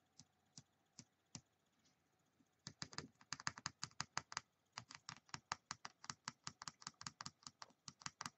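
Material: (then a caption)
Plastic. A small solid white plastic die with colored pips, held in the fingertips, is tapped and clicked with long painted nails while three more dice sit still on a wooden table. A few sharp, bright clicks come spaced apart, then after a short pause they turn into a fast, steady run of crisp taps. Each click is dry and dies away almost at once.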